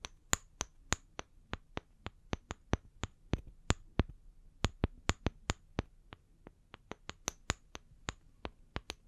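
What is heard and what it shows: Long fingernails tap the faces and bark edges of two small, solid, round wooden log slices, held upright and then tilted. About 30 sharp, dry, bright clicks come at a quick, uneven pace and die away almost instantly over a quiet low background.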